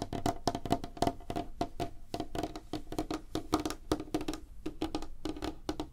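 Both hands tap rapidly with fingertips and nails on a solid, flat, light-colored wooden tabletop. The result is a quick, uneven stream of dry, woody knocks with a low thump and a clicky upper tone. Each tap dies almost instantly.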